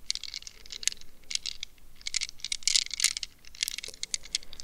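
Long red nails scratch and tap the plastic mesh net wrapped around a gel-filled rubber squishy stress ball. Quick, bright scratching and ticking bursts come in irregular clusters, dry with no ring and almost nothing in the low end.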